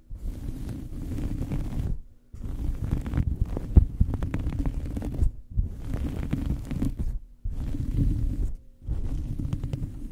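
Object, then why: Fabric towel over a microphone. A small fabric towel draped over a microphone is scratched and pinched with fingernails. The result is a muffled, low, rumbling rustle in six bursts separated by brief pauses, with occasional sharper crackles and no high-end brightness.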